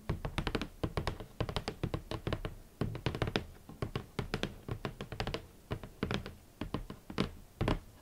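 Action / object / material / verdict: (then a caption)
tap / rigid cardboard shoe box lid / cardboard / none. Long nails and fingertips tap on the lid of a large, rigid, hollow red cardboard shoe box in quick irregular clusters across the whole clip. Each tap is a soft, dull, hollow thunk with a short bright click on top, dying away almost instantly with no ring.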